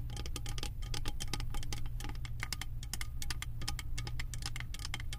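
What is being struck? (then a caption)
Beaded metal candle jar lid tapped with fingernails. Long acrylic nails tap rapidly on a round, embossed metal lid covered in small metal beads, sitting on a full candle jar. The result is a quick, continuous stream of short, bright clicks and ticks with little ring, over a steady low hum.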